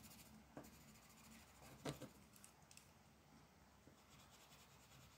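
A lavender colored pencil, held by a hand with long black nails, scratches and rubs back and forth across a flat printed paper coloring page lying on a wooden table. A soft, steady papery hiss runs throughout, broken by four short, brighter scratching strokes, the loudest near the middle.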